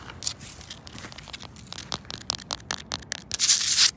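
Long pointed acrylic nails scratch and rub across a large, solid, rough granite rock outdoors. Short, bright, scraping strokes come in an irregular, quickening rhythm. They end in a louder, sustained rasping rub before stopping.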